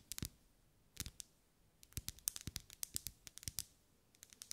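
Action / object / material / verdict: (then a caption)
tap / ribbed wax pillar candle / wax / none. Long acrylic nails tap and scratch along the ribs of a lit pink ribbed solid wax pillar candle. The result is a quiet, dry series of sharp, bright clicks, some in quick clusters and some spaced by short pauses, with no ring after each tap.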